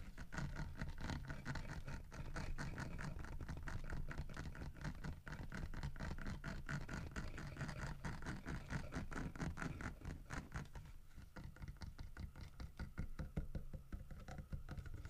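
Fingertips tap, knock and scratch on a large, solid carved wooden bear figurine with a fish in its mouth. Dense, fast and uneven taps with a short, deep, dull body are mixed with continuous scratching, the sound staying quiet and steady throughout.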